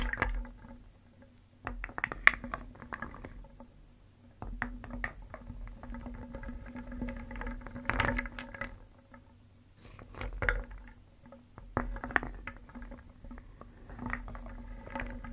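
A wooden spoon stirs and scoops small, solid, painted wooden pieces in a round wooden bowl, making the pieces clack together. Bursts of dry, rattling clacks come in clusters separated by brief quieter pauses, over a faint steady low hum.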